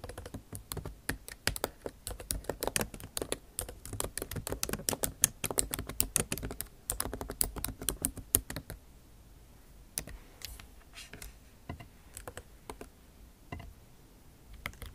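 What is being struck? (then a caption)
Laptop keyboard, plastic keys in aluminium body. Long nail tips type on the plastic keycaps of a backlit MacBook Pro keyboard set in an aluminum body. Dense, rapid, bright clicky taps run steadily for about nine seconds, then thin out into sparse, quieter taps with short pauses between them.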